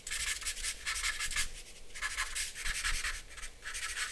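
A black charcoal pencil draws short scratching strokes on a flat sheet of white drawing paper resting on a dark board. Dry, bright, gritty scratches come in quick bursts of strokes, with a faint low hum steady underneath.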